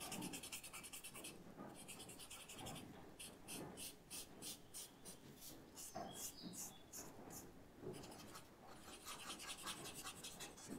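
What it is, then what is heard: Paper blending stump rubbed on sketchbook paper. A pale paper blending stump, held in the fingers, is rubbed in small strokes over charcoal shading on a white paper sketchbook resting on a table. The result is a quiet, dry, scratchy rubbing with a bright, hissy texture. It comes in quick repeated strokes that pulse rhythmically through the middle of the clip.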